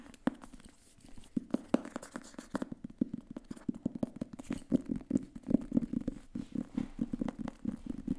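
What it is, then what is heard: Paperback book with paper cover. A thin grey paperback book with a paper cover is held in both hands while fingertips and nails tap and scratch its cover and edges. A rapid string of short, dry taps and soft scratches comes through, sitting mostly in the low-mids with almost no high end. Each hit dies away instantly in a quiet, close space.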